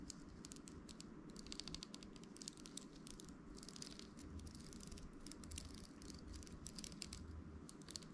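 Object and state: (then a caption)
Round hairbrush bristles flicked. A round hairbrush with a glossy amber plastic handle and plastic and metal bristles is held in one hand while the other hand's fingertips and nails scratch and flick across the bristles. Many quick, crisp ticking clicks patter in dense bursts over a low steady rumble.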